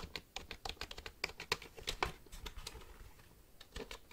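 A black plastic computer keyboard is held upright while fingertips type on its keys. About twenty quick, bright plastic clicks and taps follow one another unevenly, each dying away almost at once, with the typing growing softer and sparser toward the end.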